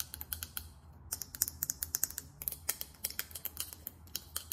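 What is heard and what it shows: Long acrylic nails tap fast on a small faceted glass perfume bottle with a chrome cap, making about 27 quick, bright clicks. Each tap stops almost at once, with a faint low hum underneath.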